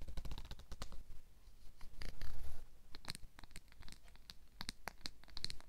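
Fingers run along a black plastic wide-tooth comb, scratching and strumming its teeth. A rapid series of crisp, bright plastic ticks is heard, with a short rasping scrape in the middle over a low background rumble.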